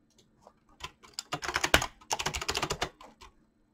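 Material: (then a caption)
Plastic. Fingertips of both hands type rapidly on a mechanical keyboard with PBT plastic keycaps and clicky switches. A dense run of sharp, bright clicks with very short decay starts sparsely, builds into a fast flurry, pauses briefly near the middle, then resumes before trailing off.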